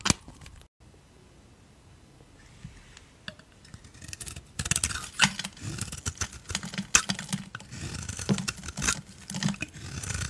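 A utility knife blade shaves the black glitter coating off a solid oval soap bar with a cream core, held on a palm, while other untouched soap bars lie nearby. After a quiet start, dense scraping and crackling shavings build up, with bright, crisp strokes and short bursts that fade quickly.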